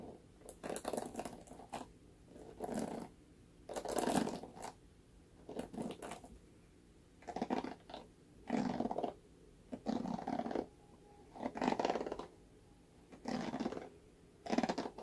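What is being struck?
Plastic paddle hairbrush bristles.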